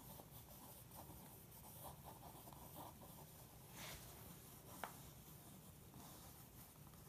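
A pencil point is dragged across the printed page of an open glossy magazine lying flat, scratching and tracing outlines. A quiet, steady scratching rasps over a low background rumble, swelling into a brighter rustle just before the four-second mark. A single sharp tick follows near the five-second mark.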